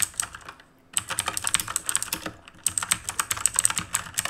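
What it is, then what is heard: Mechanical keyboard being typed on. Fingertips type fast on the plastic keycaps of a black RGB mechanical keyboard made of plastic and metal, producing rapid, bright, crisp clicks with almost no low end. The clattering runs in quick bursts, broken by a brief silence near the start and a shorter lull midway, and each keystroke dies away almost instantly.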